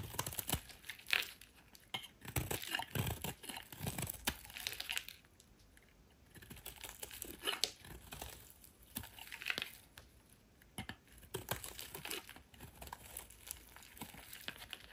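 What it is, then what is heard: Soap bar being shaved. A solid oval white soap bar held in the hand is shaved with a metal utility knife blade, the flakes piling up. Dense bursts of bright, crisp scraping and crinkling come in waves, with short quieter pauses between strokes.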